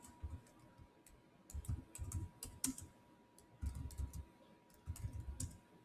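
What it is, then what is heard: Laptop keyboard with plastic keys. Fingertips type fast on the solid black plastic chiclet keys of a silver Samsung laptop, producing bursts of soft, low thuds with bright, short clicks. The bursts are separated by brief pauses, while a faint steady tone hums underneath throughout.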